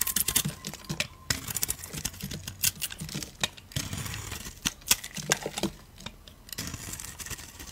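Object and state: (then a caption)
Bar soap being shaved with a blade. A solid cream bar soap held in the hand is shaved with a blade, producing a quick run of crisp, dry scraping and crackling strokes. The sharp, bright cuts come in irregular bursts with short pauses between them and fade almost instantly.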